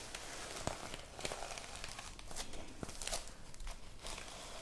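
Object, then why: Notebook with plastic sequin cover. A small rectangular notebook with a reversible plastic sequin cover is held in a hand while long painted nails and the palm brush and scratch across it, flipping the sequins. The result is a steady crinkly, scratchy rustle with sharp bright clicks and ticks scattered throughout, over a faint low rumble.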